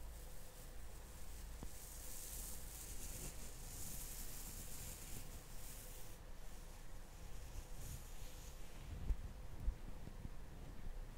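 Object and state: Nothing is struck.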